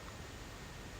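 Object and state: Nothing is struck.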